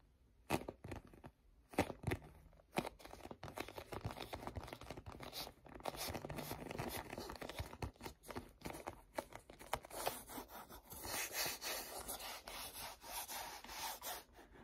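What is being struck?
Faux leather zip pouch.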